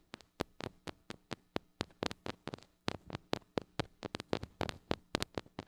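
Long acrylic nails tap and scratch the metal mesh grille of a small gold-colored mini microphone with a metal body and hollow head, held in one hand. Quick, sharp clicks come in an irregular, fast series, each a bright, dry tick with a brief scratchy texture and almost no ring.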